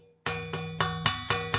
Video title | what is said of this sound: Q4 Back To Basics Interview with Joe Robert - Print On Demand | It's solid metal. It's got some decent weight to it.